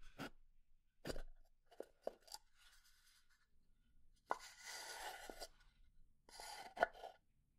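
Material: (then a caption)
Pine wood. A small hollow pine box is handled: its lid slides open with wood-on-wood scraping, and fingernails tap on it. Seven short, dry taps with almost no ring are heard, broken up by three longer, bright, hissing slides of the lid.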